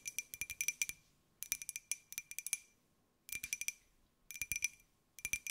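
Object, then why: Small glazed ceramic jar. A small, hollow white glazed ceramic jar with a pineapple print is held in the hands and tapped with long nails. About 25 quick, bright clicking taps come in rapid bursts separated by short pauses, each with a clear ringing tone near 2.4 kHz that dies away almost instantly.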